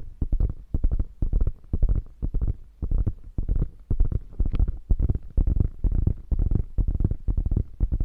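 Long nails scratch and tap on the padded panel of a beige quilted faux leather bag. Quick, irregular bursts of soft, dull, low thumps and brushing scrapes follow one another with almost no ring.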